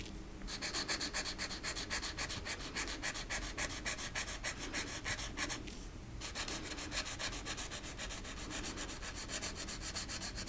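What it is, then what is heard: Marker scratching on a thin wooden ornament. Fingertips with long painted nails hold a small, flat, thin solid wooden cutout rocking horse ornament while a green marker tip rubs and scratches across its surface during coloring. Rapid, steady back-and-forth scratchy strokes, about three or four per second, make a bright, dry rasping texture, with a brief pause around six seconds before the strokes resume.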